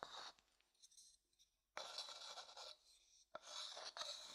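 A small, light-coloured, hollow wooden bowl, empty, is scraped and tapped inside with a wooden stick held in the fingers. Bright, raspy scraping comes in bursts, separated by near-silence and punctuated by short, dry taps that die away almost at once.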